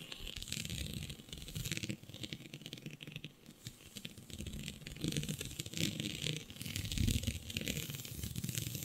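Long nails scratch a flat sheet of black synthetic stretch fabric with a shiny dotted pattern. The result is a steady, crinkly scratching with bright, hissy texture over a soft low rumble, growing louder and busier in the second half.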